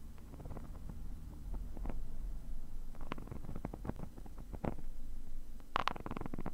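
A thin metal pick tip scratches the textured surface of a black woven nylon mesh zippered case, which is padded and hollow. Short, dry scratching ticks and rasps are heard over a steady low rumble, with a brighter cluster of scrapes near the end.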